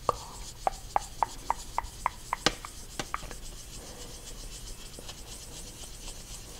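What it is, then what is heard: Marker squeaking on a small whiteboard. A black dry-erase marker tip is dragged and rubbed over a small handheld white dry-erase board with a plastic frame and a thin, hollow-backed glossy surface, held in one hand, filling in a dark circular scribble. A quick, even run of short, sharp squeaks with a mid-pitched, bright edge peaks just before the halfway point. The strokes then thin out into a few softer rubs over a faint hiss.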